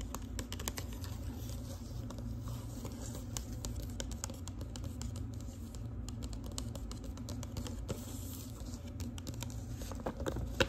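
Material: Paper.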